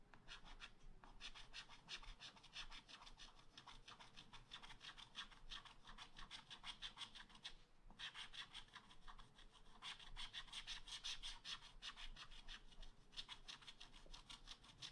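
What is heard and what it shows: A wooden stylus scratches rapidly back and forth across a black, wax-coated scratch art paper page in a spiral pad, filling in the crown of a tree. The result is a steady, dry, bright rasping with dense, quick strokes, concentrated around 3.5 kHz. There is a brief pause near the middle before the scratching resumes.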